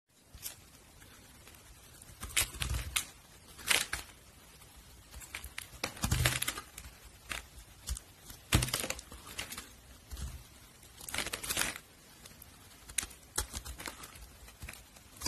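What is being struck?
Glycerin soap bar.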